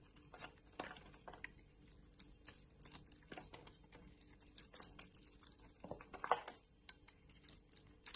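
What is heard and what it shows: A box-cutter blade shaves a purple oval bar of solid soap with a white core, held in the hand. Quiet, irregular crisp scrapes and bright flicking cuts come in uneven bursts, each dying away almost at once, with a few louder strokes along the way.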